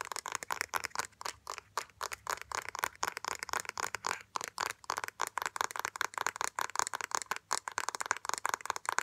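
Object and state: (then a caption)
Plastic makeup compact. Fingernails rapidly tap and scratch the rim and lid of a small, round, hollow black plastic makeup compact with a gold-ringed rim, held in both hands. The result is a quick, continuous run of dry, bright clicks and scratchy ticks with almost no low end and no ring after each hit.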